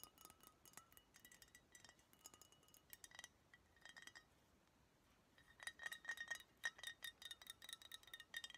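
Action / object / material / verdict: tap / glass beer bottle / glass / none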